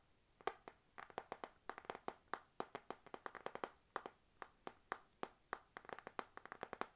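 A panda-print spiral notebook with a glossy laminated card cover is tapped with fingernails while held. About forty quick, dry, quiet taps with a midrange knock near 770 Hz fall in an uneven rhythm of single taps and rapid clusters. Each tap dies away almost instantly.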